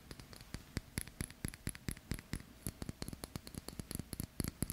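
A stainless steel watch with a metal link bracelet is held in both hands while fingertips and nails scratch and click against the links and case. About thirty quick, dry metallic clicks and taps come in an irregular run, each with a short bright tick and almost no ring, over a soft scratching rustle.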